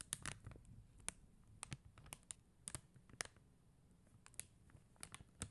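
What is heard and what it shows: Long teal acrylic nails tap and click on an acrylic rhinestone sticker sheet, a flat sheet of clear and blue faceted plastic gem stickers on white paper backing. About fifteen sharp, bright clicks ring out with almost no decay, irregularly spaced over a soft, low background rumble.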